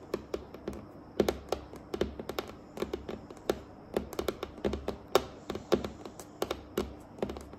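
Long acrylic nails on both hands tap across a large, solid, dark and glossy varnished wooden tabletop. The sound is an uneven stream of quick, sharp, dry clicks with almost no ring, some louder than others, over a quiet low hum and a faint steady high tone.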